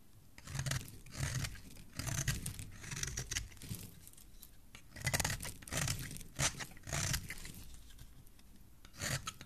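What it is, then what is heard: Bar of soap being shaved. A utility knife blade shaves a solid, embossed white soap bar in repeated short strokes, each giving a dry, bright scraping and crackling rasp over a soft low thud. The strokes come in uneven bursts with brief quiet pauses between them.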